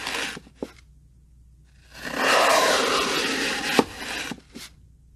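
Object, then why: Floral foam block cut with a steel knife. A steel kitchen knife slices thin sheets off one face of a rectangular block of green phenolic floral foam, solid and porous, resting on a wooden table. Short dry crunches open the clip, then a long, bright, gritty scrape runs through the middle and ends in a sharp snap, followed by a few softer crumbly scrapes.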